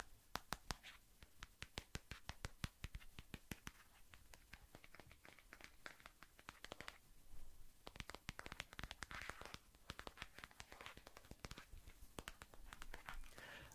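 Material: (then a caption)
Plastic. A smartphone in a white marble-pattern plastic case is held in the hand while fingertips and nails quickly tap and scratch the back of the case. The sound is a fast, dense run of sharp clicks over a soft scratchy texture, with brief, bright taps that die out almost at once.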